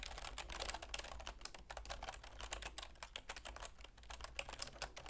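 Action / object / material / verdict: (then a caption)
tap / plastic computer keyboard / plastic / none. Long nails and fingertips type continuously on a full-size black plastic keyboard with a silver plastic frame. The result is a quick, dense run of short, bright plastic clicks and taps with no ring, over a steady low hum.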